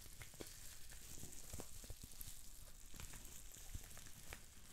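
Green plastic bubble wrap with small air bubbles is twisted and squeezed between the fingers, popping many bubbles. A steady, crackly sizzle of small sharp pops and plastic rustling runs throughout over a bright hiss and a soft low rumble.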